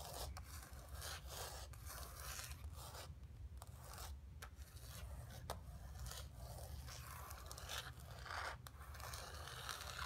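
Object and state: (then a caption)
Painted canvas panel. Long nails scratch across the surface and edges of a flat painted canvas board resting on carpet. Quiet, dry scraping strokes come in repeated bursts of bright rasping texture over a steady low hum. Each stroke stops short with almost no ring.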